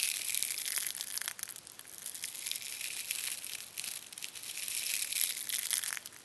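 Fingertips press into and rustle a loose pile of fine, sparkly, iridescent green and gold metallized-plastic angel hair tinsel spread on a dark red surface. A steady, dense crinkling and crushing hiss is heard, almost entirely high and bright with no low end, rising and falling in loudness over the whole clip.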